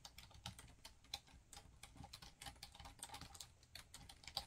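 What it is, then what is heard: Plastic laptop keyboard. Fingertips type rapidly on a black plastic laptop keyboard, producing a quick, uneven stream of short, bright clicks. Each key tap cuts off almost at once, with soft low thuds underneath and a quiet overall level.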